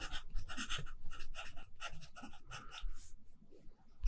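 A pencil held in the right hand scratches across a handwritten page of an open lined paper notebook while writing. Short, bright scratchy strokes come in quick bursts over soft low thuds, with brief pauses between them and a fading, quieter stretch near the end.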